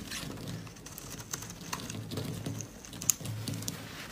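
A solid yellow laundry soap bar, held in gloved hands, is carved and scraped with a metal blade as curls of dry soap break off. A soft, steady scraping patter mixes with crisp, bright ticks and small snaps over a low, muffled rumble, with one sharper click standing out near the end.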